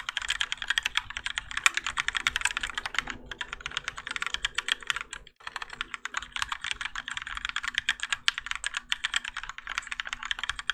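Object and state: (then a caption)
Mechanical keyboard with ABS plastic keycaps. A Keychron K4 compact mechanical keyboard with Gateron Yellow switches, grey and orange ABS plastic keycaps and a plastic and metal case, resting on a desk mat, is typed on continuously with the fingertips of both hands. Dense, bright clacks with short, clipped decay run through most of the clip. There are two brief pauses, near 3 seconds and 5.4 seconds.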